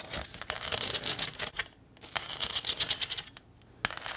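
Long nails scratch along the ridges of a small, flat corrugated metal welcome sign with a ribbon bow and tap its surface. Bright, rapid rasping scrapes are punctuated by sharp metallic ticks, with two brief quiet pauses between bursts.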